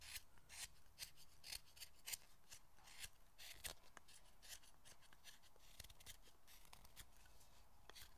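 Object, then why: Solid hinoki cypress carving pared by a small knife. A small knife scrapes and pares the rounded knob end of a solid hinoki cypress carving held in the fingers, shaping the foot of a Buddhist statue's pedestal. The strokes come as a quick series of short, dry, bright scrapes with no ring over a faint low hum.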